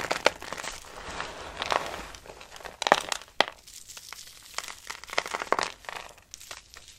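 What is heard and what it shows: Dry soap shavings are pinched and crumbled between fingers, with the pieces dropped back onto the pile. The sound is a soft, dry crinkling and crumbling with bright, crisp crackles and several sharper snaps scattered irregularly throughout.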